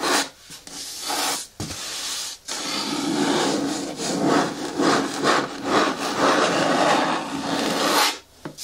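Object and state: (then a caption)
Hollow plastic bin scratched with nails. Long nails scratch the front wall of a medium-hard, hollow green plastic bin with a lid. The result is a steady, bright, raspy rubbing with a hollow low-mid body, broken by a few brief pauses between strokes.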